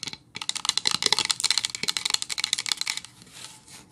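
Long acrylic nails of both hands tap and lightly scratch a solid, medium-size pine-wood plank sign lying flat on a towel. A rapid run of crisp, bright, dry clicks with almost no low end and no ring fades into a soft, hissy scratching near the end.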